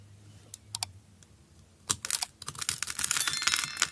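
A utility knife blade scrapes and cuts a solid green bar of soap held in the hand and pre-scored into a grid, shaving off small cubes that fall onto a dark mat. A few sparse, sharp ticks come first, then a dense run of crisp, bright scraping and crackling cuts that grows busier toward the end.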